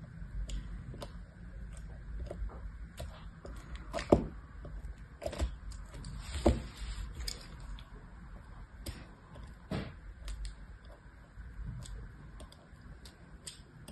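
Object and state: Bar of soap being scored with a knife.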